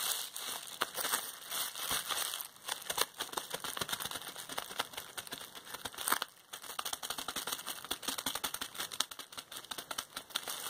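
A large roll of clear plastic bubble wrap lies in front while its air bubbles are pressed and popped with fingertips and long painted nails. Sharp, bright pops and crackles come densely over continuous crinkling of the plastic, with a brief quieter gap just after the midpoint.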